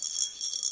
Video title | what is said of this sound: परमेश्वर का वचन आपकी आत्मिक खुराक है - Pastor Pawan Pal | ये खाली बर्तन रोज चिल्ला रहा है